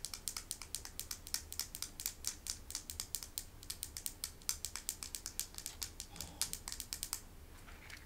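A small, smooth, solid river stone with a hand-painted animal design, held in the palm, is tapped and scratched with long acrylic nails. Rapid, bright clicking taps come in quick succession over a faint low hum. Near the end they fade into quieter, softer scratching.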